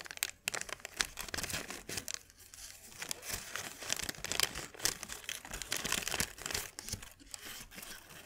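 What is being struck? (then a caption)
Thin paper sheet. A thin white paper sheet is held up and crinkled and stretched between the fingers. Dense, bright crackling and crinkling snaps fill the clip, rising and falling in quick bursts with almost no low end.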